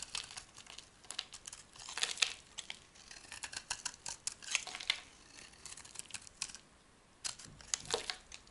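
A metal knife blade carves and scrapes a hand-sized, solid white oval soap bar held in the hand, curling off dry soap flakes. The sound is a quiet series of bright, crisp scraping and crinkling strokes in irregular bursts, with almost no low end and a brief pause before a final few strokes.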